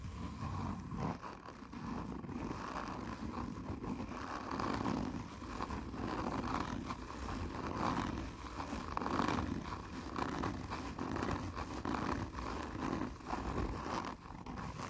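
Long nails on one hand scratch slowly and hard across a black, textured, hollow cardboard whisky tube. The result is a steady, rough rasping with a hollow, boomy low-mid body and little brightness, swelling and easing as each stroke drags along the surface.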